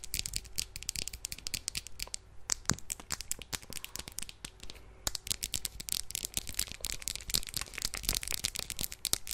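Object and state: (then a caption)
Plastic mascara tube. A slim blue plastic mascara tube, held upright in both hands, is tapped and scratched with long nails. Rapid, dense, bright clicks and scratchy crackles run throughout over a faint low hum, easing briefly just before the halfway point before picking up again.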